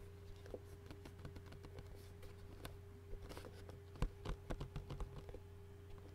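Short-nailed fingertips tap and scratch the hollow clear plastic lid of an empty Qdoba takeout bowl with food residue inside. The result is a quiet, irregular patter of light, dry clicks and scratches, a few sharper taps near the end, over a steady low hum.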